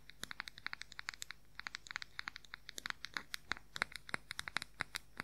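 Fingernails rapidly tap and scratch the lid and sides of a round, palm-sized, light-colored plastic makeup powder compact. About forty quick, dry, bright clicks come in an uneven stream, each dying out almost instantly, over a faint low background hum.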